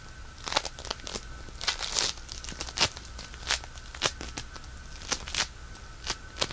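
A small, solid piece of pink polystyrene bead floam is squeezed and rubbed with fingertips, producing sharp, bright crackles and crunchy pops at irregular intervals. Quieter fizzy crinkling sits between them, with a faint steady tone in the background.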